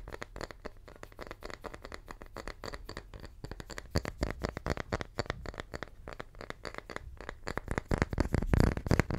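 A small, round, solid wooden tree slice is held in one hand and tapped with the fingertips of the other. The result is a fast, irregular patter of soft, dull knocks with a low, woody body and no ring, and the tapping grows louder toward the end.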